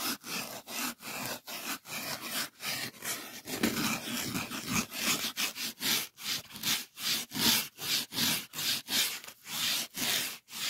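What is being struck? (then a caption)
Polyethylene packing foam sheet. A solid white polyethylene packing foam sheet is rubbed back and forth with fingertips. It gives a steady run of short, bright, squeaky scraping strokes, each separated by a brief gap, with little low end.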